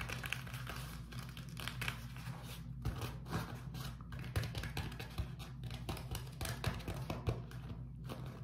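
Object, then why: Beeswax-coated cotton food wrap. A flat sheet of beeswax-coated cotton food wrap is held up, then scratched and tapped with fingertips and short nails before being folded and crinkled. Quick, dry taps and scratchy crinkles come in a rapid, uneven stream over a steady low hum, each sound dying away almost at once.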